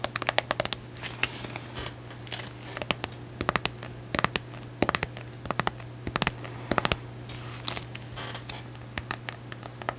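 Long acrylic nails rapidly tap and scratch across the solid silver glitter hardcover of a medium notebook. Quick, sharp clicks in bursts and clusters alternate with softer, bright scratching passes over a steady low hum. Each tap dies away almost instantly.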